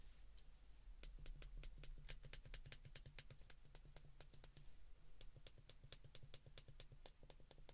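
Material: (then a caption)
Plastic. Thumbs and fingertips press the buttons of a small white plastic flip phone's keypad in quick succession, held in both hands. Rapid, sharp plastic clicks with bright tops tap out a steady rhythm over a low, constant hum.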